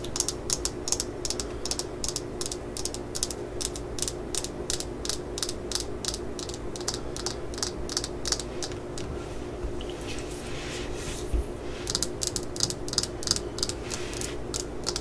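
Long nails tap and scratch the solid yellow fiberglass handle section of a claw hammer, first held and then laid on a mat. Rapid, bright, sharp clicks ring out over a steady low hum, easing around the middle into a softer scratching stretch before the quick tapping returns.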